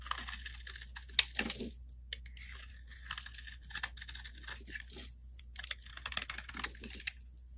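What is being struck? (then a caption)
Soap bar shaved with a metal blade. A solid yellow bar of soap held in the hand is shaved into strands with a metal blade, making quiet, crisp, bright scraping and crackling bursts with a sharper click near the start. A faint steady low hum runs underneath throughout.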